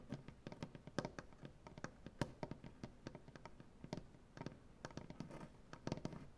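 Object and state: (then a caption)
Solid maple butcher-block table. Both hands tap their nails on a large solid maple butcher-block tabletop in quick, irregular bursts. Each tap is a short, dry knock with a low woody thud and a crisp bright click. The taps die away almost instantly, with softer scraping stretches between them.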